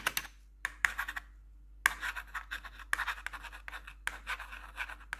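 Metal claw nail tips scratch and tap across the keycaps of a black plastic computer keyboard with a blue backlight. Bright, raspy scratches alternate with quick, sharp clicks in uneven bursts, separated by brief near-silent gaps. Each sound stops almost instantly with no ring.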